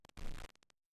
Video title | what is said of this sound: Home Inspections - Plumbing | tap on the top of the tank with your knuckle or metal object and listen for a hollow sound which means it is fine